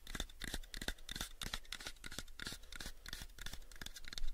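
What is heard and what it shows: Fingertips tap rapidly on the sides of a small, pale wooden cube box. The result is a quick, uneven series of short, dry knocks with a soft low thump and bright clicky edges, each dying away almost at once. The taps grow slightly louder near the end.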